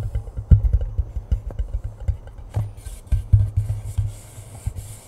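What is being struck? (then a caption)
Cardboard chip tube. A hollow cardboard Pringles chip can is held upright above the mic while fingers tap and rub its side. A quick series of deep, hollow thuds with a low boomy resonance sounds throughout. About halfway through, a soft, bright rubbing hiss joins in over the taps.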